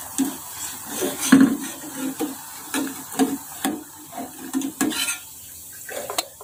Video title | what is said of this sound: ทอดเฟรนช์ฟรายส์ เรื่องง่ายๆที่ใครก็ทำได้ l Pai91.5 | เสียงกรอบได้ยินเสียงกรอบนะครับ